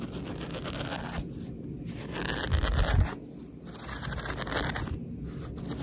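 Long red nails scratch along the page edges of a thick paperback book and riffle through its paper pages. The result is a steady, dry scratching and rustling with short pauses in the brighter texture, and it swells into a louder, low-heavy rumble near the middle before settling back down.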